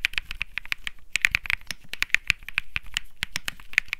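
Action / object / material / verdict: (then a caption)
tap / mechanical keyboard with plastic keycaps / plastic / none. Fingertips type on the plastic keycaps of a white mechanical keyboard. The result is a quick, uneven run of short, dry clicks and clacks with a bright upper edge and soft low thuds under some strokes. The clicks cut off almost instantly with no ring.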